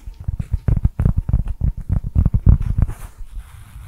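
A round, flat, thin, solid cork coaster printed with "Nouvelle Cuisine" is held in front of a microphone and tapped and scratched with fingertips and short nails. A quick, uneven run of about eighteen soft, dull, low thuds with no ring follows, then fades into quieter scratching at the end.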